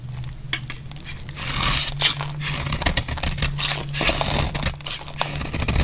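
A metal utility blade shaves curls off a solid, dry, rectangular cream "Deep Fresh" soap bar held in the hand. The result is a run of crisp, bright scraping strokes that swell and fade over a low, steady hum.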